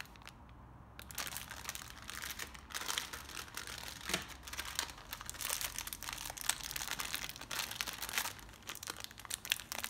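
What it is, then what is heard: Plastic zip-lock bag being crinkled. A small, clear plastic zip-lock bag holding several elastic sleeve stays with gold, silver and black metal clips is held in both hands in black nitrile gloves and squeezed and rubbed with the fingertips. After a quiet first second, a dense, bright crinkling and crackling of the plastic runs steadily to the end, with sharp little snaps scattered throughout.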